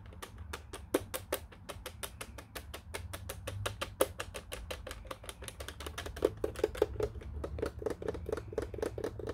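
Fingertips tap rapidly and steadily on the buttons and case of a black plastic office telephone keypad, making a long run of short, dry, clicky taps with a hollow plastic tone. A few taps land harder than the rest. A low, steady hum sits underneath throughout.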